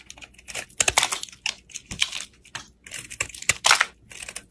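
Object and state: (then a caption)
Bar soap being carved. A solid cream-coloured bar of soap held in the hand is carved with a black utility blade, scraping off shavings and slicing through it. A quick, irregular series of dry, crisp scrapes and cuts gives a bright, crackly hiss with almost no low end. Each stroke ends abruptly with almost no ring.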